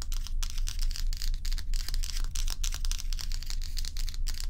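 Long pointed nails of both hands scratch and tap the frosted top of a large, solid, round ice block resting on a towel. Quick, fairly regular bright scratchy strokes and short crisp ticks follow one another in a dense stream over a steady low hum, with each stroke dying away almost at once.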